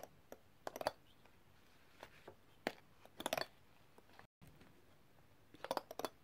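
A set of thin, solid, colorfully coated metal extractor tools in an open black zip pouch is tapped rapidly with a metal tool. The taps are short, dry, clicky sounds centered in the midrange with bright edges, arriving in irregular bursts. There is a brief moment of silence near the middle.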